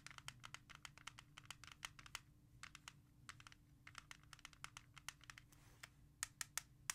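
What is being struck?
Plastic CD jewel case.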